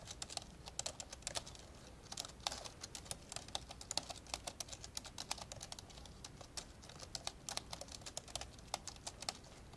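Fast two-handed fingertip typing on the plastic keys of an old dark grey plastic laptop lying open. It makes a rapid, steady stream of short, dry, bright clicks that die away almost instantly, over a faint low background hum.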